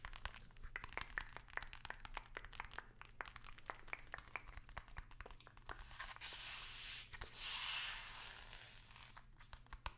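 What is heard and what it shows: Fingertips and long nails tap and scratch the flat face of a long, narrow, hollow white cardboard product box held upright. Rapid, crisp taps with a bright, papery click fill the first six seconds. A broad, hissy scratching swell follows, then more scattered taps over a faint low hum.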